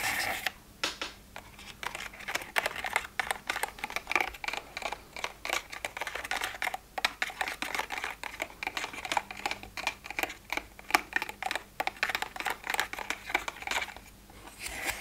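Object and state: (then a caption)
Plastic pill organizer. Fingers open, close and tap the small hinged lids of an empty, hollow plastic weekly pill box. The result is a dense run of short, dry, bright plastic clicks and snaps with almost no ring and very little low end, with only brief pauses between bursts.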